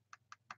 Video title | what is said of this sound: Whats On Everybody's Mind (Take 7) | if you tap on one that's a glass screen, you can actually hear a more substantial sound